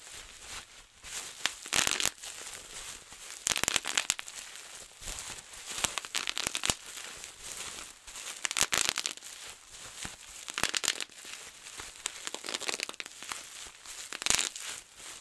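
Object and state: Plastic bubble wrap.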